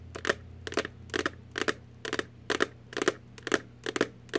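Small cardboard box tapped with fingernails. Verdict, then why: Empty. Long artificial nails tap on an empty little cardboard Warheads candy box, making light, clicky taps in quick, uneven clusters that repeat roughly every half second. Each tap is short and dry with almost no ring, over a faint steady low hum.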